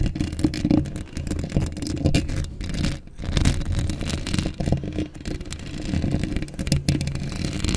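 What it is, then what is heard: Metal mesh microphone grille being scratched. Long acrylic nails scratch across a hollow steel mesh microphone grille up close. The result is a dense, continuous scraping rumble, heavy in the low end, with brief dips and faint bright rasping on top.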